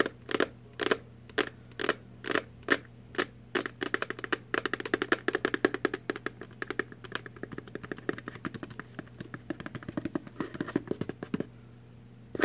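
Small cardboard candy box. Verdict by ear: Empty.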